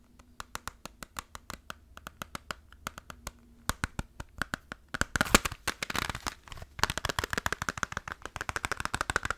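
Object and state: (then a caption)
Plastic game case. Fast fingertip tapping on a plastic PS2 Final Fantasy game case, compared with a PS1 case. Dozens of short, dry taps with almost no ring come in quick bursts. The taps grow denser and louder toward the end.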